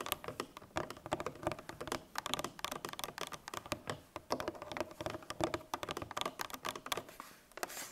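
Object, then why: Coated paperboard milk carton. A full 1 L coated paperboard milk carton lies on its side while its sides are tapped with long nails. The result is a rapid, uneven stream of light, dry clicks with a mid-pitched papery tone and very short decay, steady through the whole clip.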